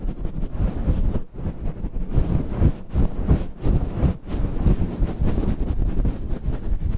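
A grey-white, fist-sized fluffy faux-fur windscreen covering a microphone is scratched and rubbed rapidly with the fingertips and nails of both hands. The result is a dense, muffled rumbling roar, almost entirely low in pitch like heavy wind buffeting, with a few brief dips where the rubbing pauses.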